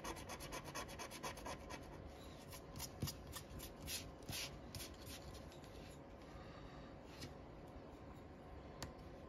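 A wooden stick rubs and scratches the latex coating off the letter boxes of a flat cardboard paper lottery scratch-off ticket held flat by fingers. The quiet, steady rasping comes in quick, uneven strokes, with bright scratchy bursts over a low rubbing texture.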